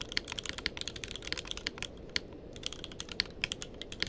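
Fingertips of both hands type continuously on a tenkeyless mechanical keyboard with plastic keycaps. It makes a rapid, uneven run of sharp, bright clicks that stop instantly with no ring. A soft, steady low hiss sits beneath the keystrokes.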